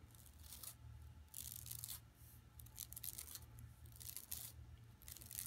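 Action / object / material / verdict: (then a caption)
scrape / woven plastic mesh bag / plastic / none. Long nails scratch across an empty, flat yellow woven plastic mesh tote bag lying on carpet. Bursts of bright, raspy scratching come and go over a steady low hum, with short quiet gaps between strokes.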